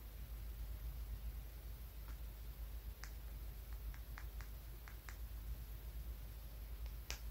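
A small, solid, translucent grey-blue polished tumbled stone is held between the fingers and tapped and scratched with fingernails. Faint, sharp, bright clicks come at irregular intervals over a quiet, steady low hum.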